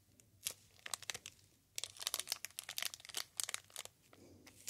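A solid Silver Soap bar, wrapped in clear plastic film with a paper label, is tapped and scratched on the wrapper with the fingertips. Bright, crisp crinkles and sharp little taps come in clusters with quiet gaps between them, then a softer scratchy rustle near the end. Each sound dies away almost instantly.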